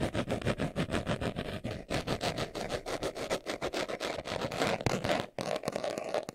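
Fingernails scratch quickly over the surface of a small, hollow, brown pebbled leather glasses case held in the hands. The result is a dense run of rapid, uneven raspy strokes, strongest in the mid-range with some bright edge, broken by a brief pause near the end before the scratching resumes.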